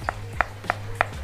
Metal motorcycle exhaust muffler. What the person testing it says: dapetin bahan yang kokoh dan Solid